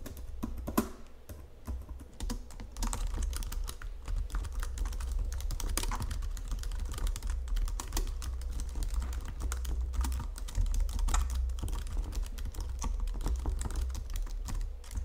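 Fingertips with long nails type steadily on a white plastic Logitech full-size keyboard under green lighting. Rapid, dense, short dry key clicks run throughout over a steady low hum that carries most of the sound. A few sharper taps stand out near the start and around the middle.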